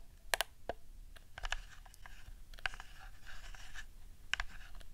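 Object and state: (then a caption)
Plastic game controller. A hollow plastic PS4 DualShock 4 controller with a camouflage skin has its buttons and sticks tapped and clicked with long nails. Sharp, bright clicks and taps come in uneven clusters, with soft scratchy rubbing between them over a low background hum.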